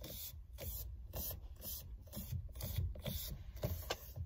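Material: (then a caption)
Faux leather. Long red nails grip, rub and scratch the solid rim of a black, textured faux leather steering wheel cover on a car wheel, first on the left side and then at the top with both hands. A steady low rumble runs under repeated short, bright scratchy bursts of rasping friction.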